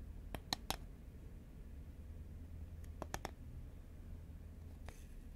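Long nails tap along a hollow green Pringles composite cardboard can held horizontally in both hands. Seven short, dry clicks come in two quick bursts of three and one faint tap near the end, each dying away almost at once. A steady low rumble sits underneath throughout.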